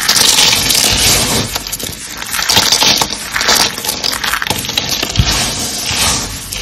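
Dark green dry starch soap flakes with pink bits, solid and brittle, are crumpled and crushed by hand. A steady, bright crunching and crackling runs throughout, with dense crisp snaps and gritty rustling but very little low end.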